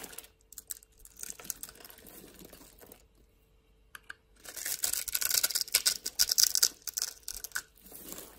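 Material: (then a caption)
Soap. A metal blade carves into the surface of a solid pink bar of soap held in the hand, cutting it into small cubes and breaking them off. Faint, sparse scratches and light clicks come first, with a near-silent pause. Then dense, bright, crisp crunching and crackling swells before tapering off near the end.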